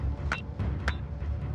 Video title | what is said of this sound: Australia 4 Billion Year Old Secrets Documentary 2016 | bang it together it sounds like metal and this stuff is heavy